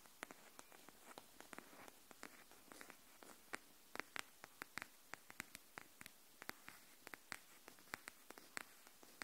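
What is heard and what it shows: Long nails tap the edge of a pink cardboard hardcover paper notebook held edge-up, making about 37 quick, dry clicks at an uneven, gentle pace. Each tap is short and bright with almost no ring, over a faint, steady hiss.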